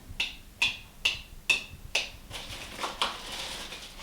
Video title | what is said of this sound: MicroMoment: News & Updates | all of them have still sealed and i can tell that by the sound when i tap the flats